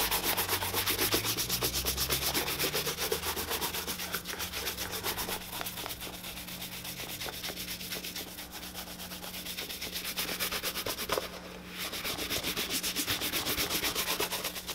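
A tan leather boot, held up, is brushed rapidly with a handheld bristle shoe brush, giving a steady run of quick, hollow, bright rubbing strokes about four per second. A low steady hum runs underneath, and the brushing pauses briefly near the end before resuming.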